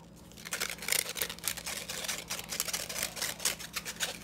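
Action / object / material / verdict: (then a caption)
tap / plastic tea strainer with fine metal mesh / plastic, metal mesh / none. Fingertips quickly tap and scratch the fine metal mesh and plastic rim of a small, empty yellow plastic hand strainer. The result is a rapid run of crisp, bright, scratchy clicks with almost no ring, over a faint steady low hum.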